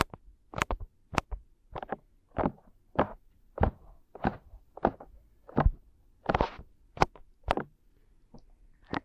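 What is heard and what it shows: Fingertips rub and scratch over the soft silicone ears of a binaural microphone. About fifteen short, separate brushing swipes and soft thumps sound close and muffled, each with a dull low body and a brief scratchy edge that dies away almost instantly. Quiet gaps sit between the strokes.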